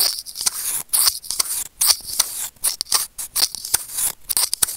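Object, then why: Plastic earphone inline remote microphone and steel tweezers. Curved steel tweezers held in fingers click and scrape against a small, hollow, white plastic earphone inline remote microphone. The result is a rapid, irregular run of crisp ticks and scratchy rasps, nearly all bright, high-pitched energy with almost no low end, and each click dies away almost instantly.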